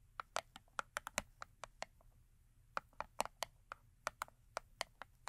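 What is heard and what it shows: Long acrylic nails tap and scratch the top and front of a small Yardley rose & rhubarb soap box, made of thin printed cardboard with a bar of soap inside, resting on a fur mat. About 21 crisp, dry clicks come in quick irregular bursts, each a short bright tick with a hollow papery body and almost no ring, over a quiet background.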